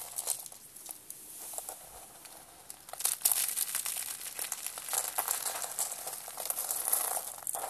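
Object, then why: Dry soap rolls. Hands with purple nails crush and rub blue dry soap spiral rolls, pressing them flat into a pile of blue flakes. A dry, bright crinkling crunch crackles in quick, irregular bursts, quieter for the first few seconds and then growing louder and denser. The rolls end up as a flattened pile of flakes.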